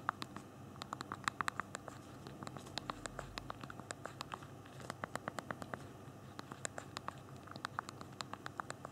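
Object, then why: Small plastic phone keys. Thumbs tap out typing on the physical keyboard of a handheld BlackBerry phone, its small plastic keys giving short, dry, bright clicks. The taps come in irregular, fairly sparse bursts with brief pauses, over a low, steady background hiss.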